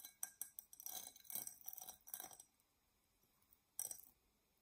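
A tall, dark purple, embossed tinted glass tumbler, hollow and empty, is scratched and tapped with long nails. Bright, thin clicks and scraping bursts cluster through the first two and a half seconds, then a quiet pause gives way to one last sharp burst of taps near the end.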